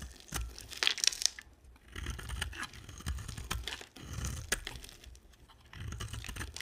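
A hand-sized solid yellow-and-white striped dry soap bar, held in one hand, is shaved with a box-cutter blade in scraping, carving strokes that shed crumbly chips. Dry, bright crackling and crunchy scraping comes in uneven bursts with a few sharp snaps, over a soft low rumble.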